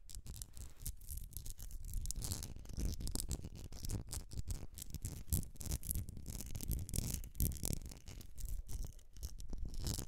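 Long nails scratch and tap the sides of a medium etched glass candle jar filled with solid wax. The result is a steady, dense rasping with rapid short taps, a heavy low thump-like body and bright scratchy hiss on top, lasting the full ten seconds.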